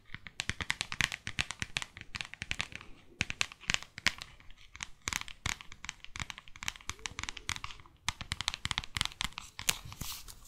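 Long fake nails rapidly tap and scratch the glossy front cover of a small, thick, solid New York paperback guidebook. The result is a dense run of crisp, bright clicks mixed with dry, papery scratching, each tap short with almost no ring.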